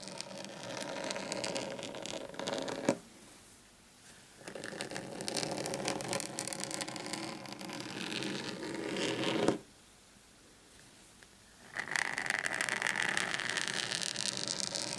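Short painted fingernails on both hands rapidly scratch and tap a large, flat, thin, solid black desk mat lying on a table. A dense, bright, scratchy rasp runs in three bursts, each ending with a sharp tap, separated by two short near-silent pauses.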